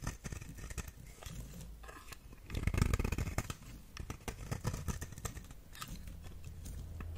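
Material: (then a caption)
Soap. A knife blade carves and scrapes across the surface and edge of a solid orange square soap bar, with shavings falling away. Dense, irregular scraping and crunching strokes carry mostly low, muffled energy with brief bright edges. The sound swells louder and fuller in the middle before settling into steady scraping.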